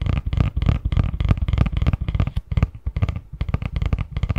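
A medium-size, hollow, printed cardboard Christmas box lid is held in both hands while fingertips tap and scratch quickly across its front. The result is a rapid, uneven run of dull, low, hollow thuds that die away almost instantly, with a soft scratchy texture between them.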